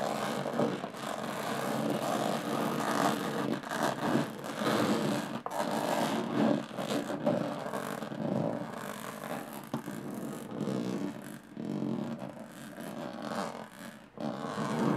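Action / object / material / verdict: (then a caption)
scrape / small aluminum case with textured lid / aluminum / none. Long fingernails scratch and tap the textured metal lid of a small, hollow aluminum briefcase, at both fast and slow speeds. The result is a continuous dry, raspy scraping with light tapping, centered in the mids. It rises and falls in loudness over the clip, with brief dips between passes.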